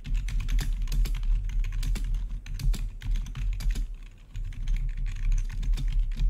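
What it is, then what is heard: Plastic gaming keyboard being typed on. Fingertips of both hands type rapidly on the keycaps of a full-size black plastic membrane-style gaming keyboard with blue-to-red backlit keys. The result is a dense, steady stream of short, dull clacks over a strong low rumble, with brief bright clicks and a slight dip in the flow just past the four-second mark.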